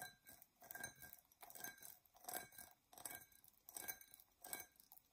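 Long nails scratch the sides and base of a hollow, empty, dark purple embossed tinted glass tumbler. It gives a series of short, uneven bursts of bright, gritty scraping with faint glassy ringing around 2.3 kHz. Each burst fades quickly, with quiet gaps between strokes.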